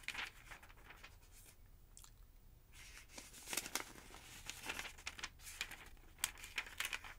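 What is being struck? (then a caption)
Thin paper phonebook pages. Thin pages of a large, thick yellow paper phonebook lying open on a wooden table are lifted at the corner by fingertips with long nails and turned. Crisp, bright paper rustles, crinkles and sharp flicks come in quick bursts, with a quieter, muffled stretch near the middle of the clip.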